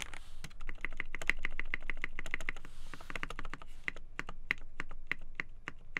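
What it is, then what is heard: Polycarbonate mechanical keyboard being typed on. Two hands type steadily on a black polycarbonate TKL mechanical keyboard (KBD8x, poly plate, Gateron Black Ink switches) with white and black PBT keycaps. Fingertips press and tap the keys in a fast, uneven stream of short, crisp clacks with a bright tone. Each clack stops almost at once.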